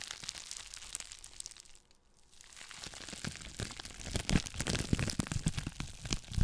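Clear plastic bubble wrap held close to the microphone is crinkled and scratched with long nails, giving dense, bright crackling and rustling. The sound thins to near silence around two seconds, then returns louder and busier with sharp snaps and crunches to the end.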